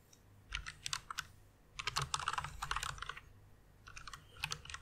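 Long painted nails and fingertips type and tap on a white full-size plastic mechanical keyboard with RGB backlight and a hollow case, resting on a pink fluffy pad. Bright, sharp clacks come in three quick flurries separated by short pauses, with a soft low thump under each burst and almost no ring after each keystroke.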